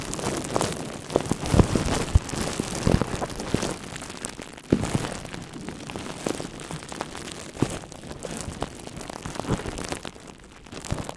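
Thin, hollow, air-filled plastic bubble wrap wrapped around a red microphone is crinkled and scratched with the fingertips of both hands. A dense, continuous crackling rustle is heard, heavy in the low end, with many sharp pops and snaps standing out above it.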